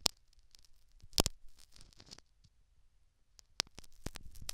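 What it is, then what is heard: Silicone ear microphone with foam plug, scratched. A metal syringe needle picks and scratches at the foam plug and canal edge of a silicone dummy ear microphone. Soft, bright scratching and crackling is broken by several sharp, close clicks, with quiet gaps between bursts.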